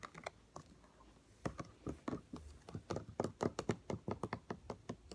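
A yellow all-purpose cleaner spray bottle with a white and blue plastic trigger head is tapped with fingertips and nails around the trigger and neck. A few slow, light taps come first, then a quicker run of sharp, dry plastic clicks and knocks, about twenty taps in all, each dying away almost at once.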